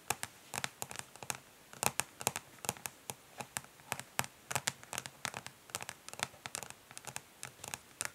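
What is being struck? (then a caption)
Plastic makeup palette case. Long nails tap and scratch quickly but gently on the ridged, smoky plastic back of a plastic makeup palette case. Dozens of short, bright clicks come in uneven bursts, with faint scratching between them. The sound is quiet, with little low end and almost no ring.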